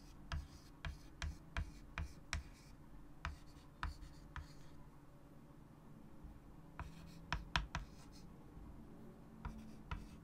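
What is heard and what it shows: A white chalk stick writes text on a large wood-framed chalkboard resting on a table, making quiet scratching strokes. About fifteen sharp, short chalk taps stand out over a low, steady hum, with a pause in the middle before the strokes pick up again.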